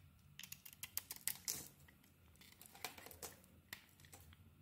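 A solid rectangular cream bar of soap with a bright green coating is held in the hand and shaved with a metal knife blade, peeling off curled shavings. The quiet clip is a series of short, crisp, bright scraping and crackling strokes with little low end, each dying away almost instantly.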